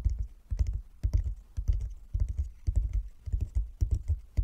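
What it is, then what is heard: Wooden chess board. Fingertips of both hands tap on a flat wooden chess board with light and dark inlaid squares lying on a table. They make quick bursts of soft, dull, low thuds with almost no ring, in an uneven, drumming rhythm.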